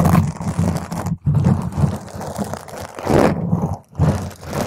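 Long green nails scratch and rub a round purple foam microphone windscreen while a hand grips over the foam. The sound is a dense, muffled, low rumbling scratch and crinkle, with brief near-silent breaks as the grip shifts.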